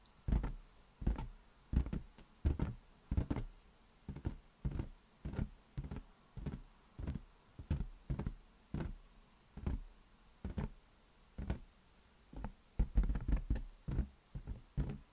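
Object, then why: Inflated rubber balloon. Fingertips tap on an inflated rubber balloon in a steady, uneven series of soft, hollow thumps. Each tap is a short, deep thud with almost no brightness, dying away quickly with some light rustle between taps.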